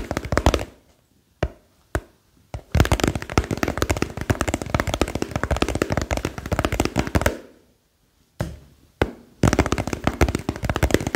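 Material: Plastic.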